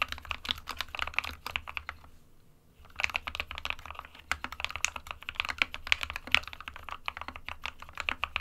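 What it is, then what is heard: Plastic mechanical keyboard. Fingertips of both hands type continuously on an SK61, a small 60% mechanical keyboard with a plastic case and plastic keycaps, hollow with the switches inside. Dense, bright, clacky keystrokes with very short, dry decay pause briefly for about a second near the two-second mark, then resume.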